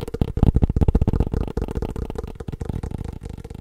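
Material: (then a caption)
Hard shell. A small, hollow, black hard-shell glasses case is held in the hand and tapped rapidly with the fingertips and nails. The result is a dense stream of short, dull, hollow taps with a low, boomy body and a faint tone in the low-mid range. The tapping is loudest in the first half and gradually softens toward the end.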